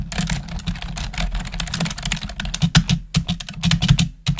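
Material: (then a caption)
Plastic. Long acrylic nails and fingertips type quickly on the keys of a black plastic desktop keyboard, producing a dense stream of sharp, bright clicks and clacks with very short decay. A steady low hum runs underneath the rapid, uneven patter throughout.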